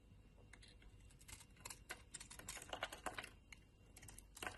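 A metal utility-knife blade scrapes and shaves the surface of a solid, palm-sized rectangular brown soap bar. Irregular, crisp, dry scraping ticks and short crackling bursts stand out over a low, quiet background, bright in tone with almost no ring after each cut.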